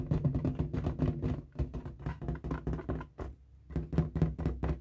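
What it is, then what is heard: Latex balloon, taut and air-filled. A light blue inflated latex balloon, hollow and air-filled, is held in both hands while fingertips and nails rub and scratch its taut rubber surface. A quick run of short, dull squeaking rubs and soft thunks sounds low and boomy, with a tone around 160 Hz. The rubs pause briefly just after the middle, then resume.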